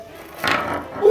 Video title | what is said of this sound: 한국인이 개발한 냉면용 차가운 버너 ㄷㄷ | 딸기에서 도자기 소리가 나는데요